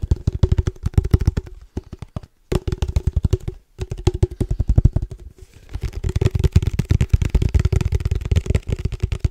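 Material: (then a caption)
Metal. Fingertips tap quickly on a held, hollow black cylindrical padel ball can with a red logo and a metal top. The taps come as rapid, dull, low thumps carrying a faint hollow ring, with brief pauses near 2.3 and 3.7 seconds. A denser, steadier stretch of tapping follows.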